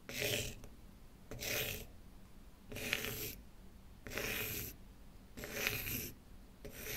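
A pen tip scratches and rubs across the surface of a small, flat, rectangular, light-colored solid wooden block, held by hand on a wooden table, leaving dark streaks. Six bright, rasping strokes come in a loose, steady rhythm, separated by short quiet gaps; the last is cut off at the end.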